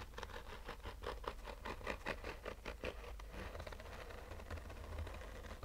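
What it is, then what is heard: Fabric-covered hard-shell case scratched with fingernails. Short fingernails scratch a black oval, textured fabric-covered hard-shell sunglasses case with a rigid hollow shell, held in the hand. Dry, scratchy strokes come in an uneven patter of quick, rustling bursts over a steady low rumble, easing into softer, smoother scratching in the second half.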